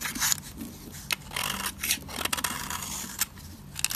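A thin slab of dry purple soap, held in the hand, is scraped along its edge with a metal utility blade, shaving off powdery flakes. The clip is a run of dry, bright, hissy scrapes broken by sharp crisp clicks, with almost no low end and no ringing.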